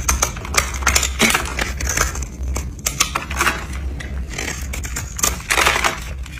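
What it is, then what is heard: Dry bar soap, crumbling under a blade. A red utility knife blade scrapes and cuts flakes and small cubes from a hand-held, solid pink and orange dry bar soap scored into a cube grid. Rapid, dry, crisp crunches and bright scraping bursts are heard over a steady low hum. The flakes and cubes crumble away.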